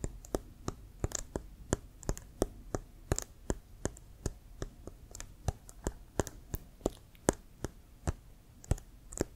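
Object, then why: Leather American football. Fingertips and nails tap and scratch a hollow, inflated brown leather American football with a white stripe, held upright. The result is a steady series of short, dry, sharply separated clicks with a dull low thump and a bright top edge, over a soft, faint scratching between hits.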